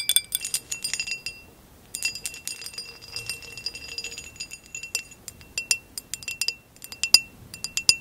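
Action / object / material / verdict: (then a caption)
tap / textured glass vase / glass / none. A tall, hollow, empty amber glass vase with a basket-weave texture is tapped and scratched with long acrylic nails, and is turned on its side by the end. Quick, bright glassy clinks and ticks come in irregular bursts, with a brief pause early on. Each hit dies away almost instantly.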